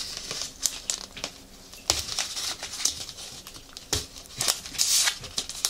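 A small cylindrical item wrapped in brown kraft paper is held in both hands while the paper is crinkled, rubbed and scratched with fingers and nails. Bright, high-pitched crinkling and papery scratching run throughout, punctuated by sharp crackles, with almost no low end.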